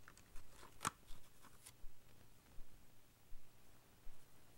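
A paintbrush's bristles stroke and scratch across the printed surface of a small Ticonderoga cardboard pencil box resting on blue fur, while the other hand holds the box. Quiet, dry swishing and scratching strokes repeat at a fairly steady pace, with one sharper, crisper scratch near the start.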